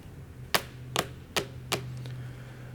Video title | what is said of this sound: It's leaking everywhere! CAR WIZARD shows most common leaks on 2015 GMC Yukon | this material is gotten hard and it's almost like plastic now it's not rubber